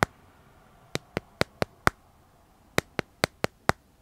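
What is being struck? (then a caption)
Smartphone in plastic case. Fingernails tap and scratch the back of a smartphone held upright in a clear plastic dragon-print case. Eleven sharp, dry clicks ring out with bright upper content: a single tap, then a run of five, a short pause, and another run of five, each decaying almost instantly over a quiet background.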